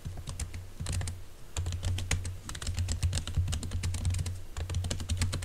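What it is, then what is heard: Laptop keyboard with silicone cover. Fingertips of both hands type quickly on a laptop keyboard covered by a green silicone keyboard cover. The keypresses land as a rapid, continuous stream of soft, muffled taps with short, bright clicky edges, over a steady low hum that runs through the whole clip.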